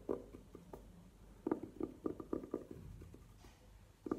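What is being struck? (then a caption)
Velvet-covered hard jewelry case. Long nails tap and scratch the velvet face of a hollow, hard, burgundy velvet-covered jewelry case standing upright on a table. Soft, muffled, low-mid taps with a hollow tone die away almost at once, separated by light scratching.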